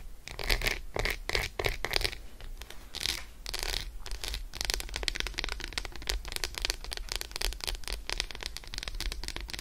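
An unwrapped solid Roshen milk chocolate bar resting on faux fur is fast-tapped with long acrylic nails. Short bursts of crisp, bright clicking give way after about four seconds to a steady stream of rapid, dry ticks over a faint low hum.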